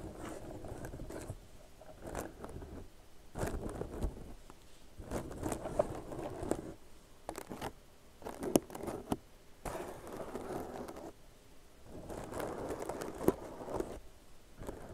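Long nails scratch and pick at the stitches of a tan crocheted jute and cotton yarn purse, soft and hollow, held in both hands. The result is dry, fibrous rustling and scraping, centered low to mid, in bursts separated by short quiet gaps, with occasional sharp little clicks as the nails catch the stitches.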